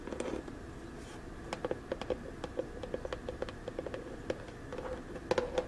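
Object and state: Small plastic storage box.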